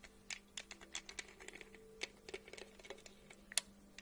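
Long acrylic nails tap and scratch a medium-sized, hollow, studded plastic tumbler with a lid and straw, held in one hand. About 15 quick, bright clicks and light scratches come in an uneven, typing-like patter, each dying away almost instantly. A faint steady low hum runs underneath.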